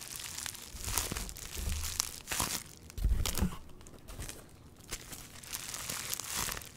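An item wrapped in clear plastic bubble wrap is held in both hands while fingertips squeeze and rub the wrap. The result is a steady, bright crinkling and rustling with low, soft thumps from the handling underneath.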